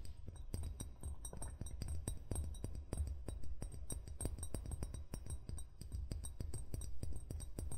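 Fingertips and short nails tap and scratch along the hollow body and neck of an empty-looking amber glass wine bottle with a gold cap, lying on grey felt. A quiet, steady stream of quick, sharp clicks with bright, short glassy clinks sits over a soft low rumble.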